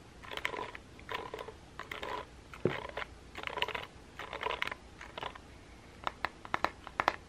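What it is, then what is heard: Plastic paddle hairbrush scratched and tapped. A hand-sized pink plastic paddle hairbrush with a hollow back and a cushion of dense plastic pin bristles is held over a table while painted fingernails and fingertips scratch and tap the bristles and the back of the brush. Short bursts of crisp, bright scratching rustle through the bristles with a hollow tone around 1 kHz, then give way to quick, sharp plastic taps near the end. The sounds are close and dry.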